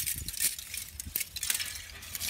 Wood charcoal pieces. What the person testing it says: it sounds like glass. Pretty cool. Pure carbon.